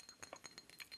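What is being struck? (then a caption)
Obsidian statue. Light taps on an obsidian statue produce seven quiet, glassy clinks. Each is bright and high-pitched and dies away almost instantly.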